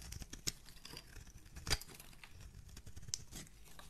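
A metal razor blade scrapes and carves an oval blue solid soap bar with a dark rim, held in a hand with dark painted nails, shaving it into curls. Soft, irregular scraping and crackling fill the clip, broken by a few sharp, bright clicks as the blade bites into the surface.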